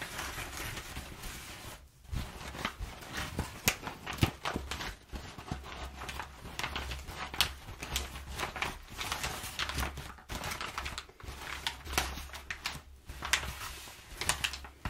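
Crumpled brown kraft packing paper on a table is rubbed and scratched with fingertips and long nails. Dense, crackly rustling and bright scratches come in quick bursts, with brief pauses, over a steady low hum.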